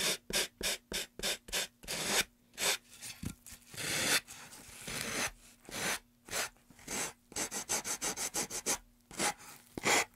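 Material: Wood.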